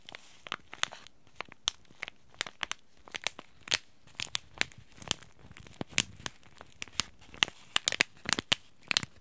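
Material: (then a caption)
Paper-foil laminate. Fingers and short nails crinkle and squeeze a small white Yogi Tea sachet made of paper-foil laminate, with a tea bag inside. Short, sharp, bright crackles and snaps come at irregular intervals over a quiet background. Each one dies away almost instantly.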